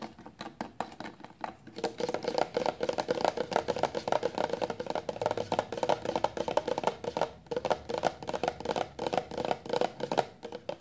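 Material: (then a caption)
Plastic. A 400 mL clear plastic shampoo bottle, full of liquid and lying flat, is tapped rapidly with the long nails of both hands. The result is a continuous stream of quick, hollow, woody clicks with a mid-range tone near 740 Hz, each dying away almost at once. The tapping briefly slows or pauses a few times but keeps a steady, busy rhythm throughout.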